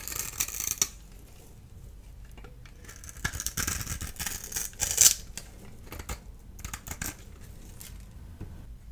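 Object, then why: Bar of soap cut with a small blade. A solid blue-and-white striped dry bar of soap, held in the hand, is shaved and scored with a small blade tool. The sound is a series of crisp, bright scraping and crackling cuts with short, dry, fast-fading clicks. One sharper snap comes near the five-second mark.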